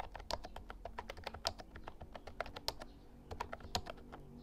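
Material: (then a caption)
Plastic. Fingertips type continuously on a compact Actto Retro Pop Mini Bluetooth keyboard, a plastic mechanical keyboard with round white keycaps and a hollow body. A steady run of quick, bright, clacky keystrokes with short, hollow-sounding resonance plays over a faint low background hum.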